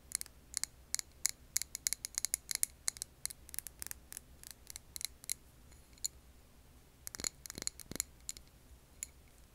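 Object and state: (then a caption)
Glass candle jar tapped with nails. Long nails tap a clear glass jar filled with green wax candle, making quick, irregular, bright clicks that die away almost instantly. The taps come in busy clusters, thin out in the middle, then return in a short flurry before tailing off over a faint steady low hum.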